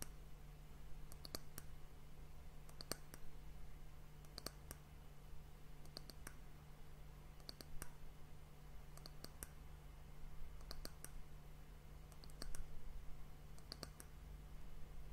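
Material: Wood.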